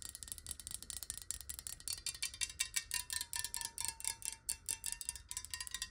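Long nails tap rapidly on the sides of a clear square glass bottle filled with water as it is tilted and then held upright. The quick, bright clicks die away almost at once, with a faint ringing tone running underneath.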